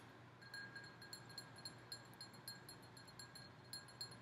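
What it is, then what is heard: Glass goblet candle holder. Long nails tap quickly and irregularly on the bowl of a large red and gold glass goblet candle holder. Each light, clicky tap brings out a high, bright glassy ring that fades within about a quarter second over a faint low hum.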